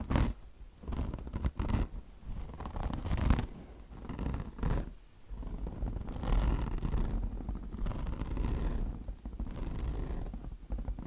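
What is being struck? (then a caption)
Mesh-covered microfiber sponge. Long blue nails scratch the mesh cover of a mesh-covered microfiber car wash sponge resting on marble. The result is a steady run of rough, rasping scratches in uneven bursts, with a soft low rumble underneath and short pauses where the strokes change.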